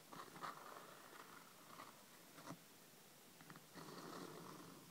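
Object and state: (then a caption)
Hardcover paper book. Long red nails lightly tap and scratch near the cover edges of a thick, solid hardcover paper book lying flat on a table. Quiet, dry scratching rasps in steady, uneven strokes, broken by two sharper taps that die away quickly.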